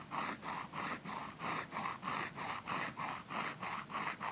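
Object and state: Nothing is struck.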